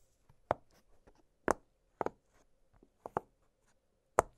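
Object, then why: Silicone pop-it fidget toy. An octagonal blue silicone push-pop fidget toy has its bubbles popped with fingertips. Seven short, soft pops sound at uneven intervals, some in quick pairs, each with a dull mid-pitched snap that dies away almost instantly. Faint small clicks fill the quiet between them.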